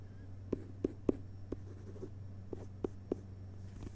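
Fingertips of both hands tap and scratch the front cover of a hardcover book with a glossy paper dust jacket lying flat on carpet. Seven short, dull, muted taps stand out with very little ring, over a steady low hum and faint rustling scratches.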